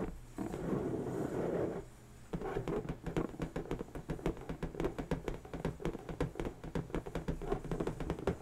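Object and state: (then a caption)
Latex balloon. Long natural nails scratch and then tap the taut surface of an inflated, hollow pink latex balloon resting on a table. A soft, continuous rubbing scratch for the first two seconds gives way to a quick, irregular series of dull, hollow taps with short decays, mostly low and mid-range with little brightness.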